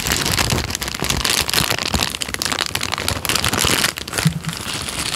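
A thin tan paper sheet is bent, crinkled and then flattened with the fingers, giving a dense, steady run of bright crackles and crinkles. The noise stays fairly even, briefly dips just before four seconds, then resumes at a slightly softer level.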